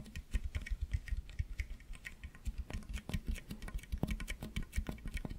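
Fingertips and nails scratch and squeeze the ridges of a long, hollow, ribbed pink plastic toy tube held in both hands in front of the microphone, bending it as they go. This produces a quick, irregular stream of short, dry clicks and taps, each with a soft low thump and a faint bright tick, dying away almost instantly.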